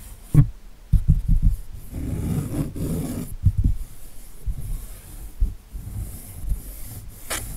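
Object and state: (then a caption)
Acrylic-painted canvas. Fingertips and nails scratch across the painted surface of an acrylic-painted canvas showing a winter tree, held upright. The sound is a soft, low, muffled rubbing and scraping with a few dull bumps, and almost nothing bright in it.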